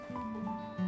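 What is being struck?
Nothing is struck.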